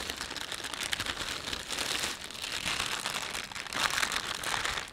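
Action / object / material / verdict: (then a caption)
scrape / thin plastic shopping bag / plastic film / none. Fingertips rub and crinkle the film of a thin, empty panda-print plastic shopping bag. A steady, bright crackling and rustling runs throughout, with almost nothing in the low end, swelling briefly louder near the end.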